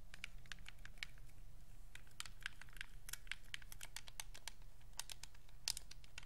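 Fingers click the shoulder buttons and triggers on the back of a white Xbox 360 wireless controller with a hollow hard plastic shell. It makes a quick, irregular run of sharp, dry, bright plastic clicks with almost no ring, over a steady low hum.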